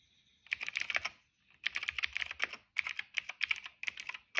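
Fingertips type on a cream plastic retro mechanical keyboard with plastic keycaps and a hollow case. Quick runs of bright, hollow clacks come in bursts, with a short silent pause near the middle. Each keystroke cuts off almost instantly, with no low-end thump.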